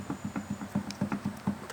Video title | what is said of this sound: Barulho na Suspensão traseira Peugeot 206 207 SW - Problema resolvido | Então esse aqui ele tá com a folga, ó. Então aqui ele faz o barulho